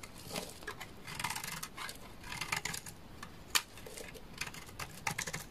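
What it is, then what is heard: Bar of laundry soap. A utility knife scrapes curls off the surface of a solid amber laundry soap bar. It makes short, crisp, bright scratching strokes in irregular bursts, with one sharper snap near the middle.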